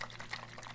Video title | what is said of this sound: MRE Review Biggest And Most Rare YouTube Russian Cosmonaut Space Food Review Ever !!! | it sounds very much like liquid so it actually might be a drink